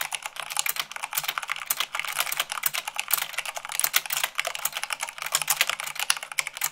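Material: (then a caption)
Plastic. Fast typing with fingertips and long nails on a mechanical keyboard with white plastic keycaps on a black base produces a dense, rapid stream of sharp, bright clicks. Each keystroke is short and dry with almost no ring or low end, with many strikes overlapping unevenly in quick succession.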